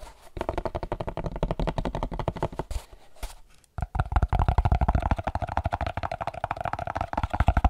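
A hollow, empty, hand-sized white molded paper-pulp packaging tray (a molded pulp cardboard insert) is held and tapped and scratched with the fingertips. It makes rapid, dull, low-pitched taps with no ring, with a short quiet pause partway through. The tapping then resumes faster and slightly louder.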